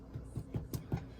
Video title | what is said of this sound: How We Celebrated Easter - VLOG | you'll know they're done if you tap them and they sound hollow